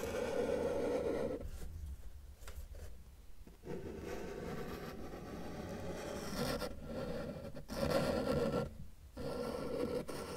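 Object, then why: Felt-tip marker on a paper sheet. A felt-tip marker tip is drawn across a flat white paper sheet on a table, sketching an elephant's head and trunk while a left hand rests on the paper. Soft scratchy rubbing strokes come in bursts with brief quiet gaps between them. The strokes carry a faint midrange squeak around 500 Hz.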